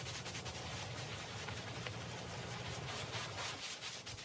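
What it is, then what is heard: Wet woven rug being scrubbed. A handheld stiff-bristle brush scrubs back and forth across a small, flat, patterned woven rug with fringe, soaked with soapy water and lying on a wet tiled floor. The result is a steady, wet, foamy scrubbing hiss that stays bright and continuous, over a low, constant rumble.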